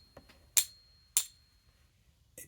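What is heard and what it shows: An 1800s silver crown coin, confirmed by specific gravity as authentic 925 silver, is pinged twice with a Pocket Pinger. Each ping gives a short, bright, high-pitched tick that dies away almost at once, with only a super-faint ring. The coin doesn't ping right, possibly because of the blackness or impurities on its surface or lower-purity 1800s silver.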